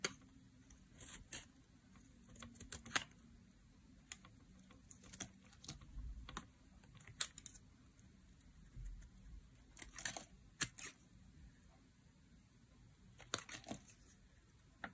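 Thin flakes are carved off the edge of a solid, dry, oval blue bar of soap held in the hand, using a metal utility blade. A quiet, irregular series of crisp, bright scraping clicks and short shaves, each dying away almost instantly, with soft rustling in between.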